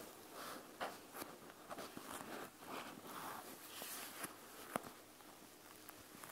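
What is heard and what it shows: A panda gel bead eye mask, a clear plastic shell full of gel beads, is held and tilted while long nails tap and scratch across its beaded plastic front. Soft, papery scratching and light rustling of the beads alternate with a couple of sharper, bright clicks from nail taps.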